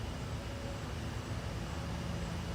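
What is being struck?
Nothing is struck.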